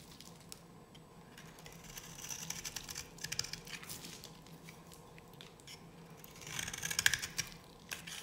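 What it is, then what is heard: Dry bar soap scraped with a blade. A metal blade scrapes curled flakes from one edge of a solid, dry yellow bar of soap held in the hand. The cutting produces crisp, bright scratching and crackling in irregular bursts, with short dry ticks and little ring. The scraping grows louder and denser near the end before trailing off over a faint low hum.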